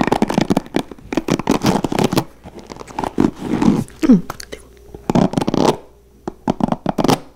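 Fingertips rapidly flick and scratch the white plastic bristles of a blue plastic paddle hairbrush held in the hands. Quick bursts of dry, crackly scratching come in clusters, broken by short pauses and a brief squeaky rub partway through. The sound is close and dull, each flick dying away almost at once.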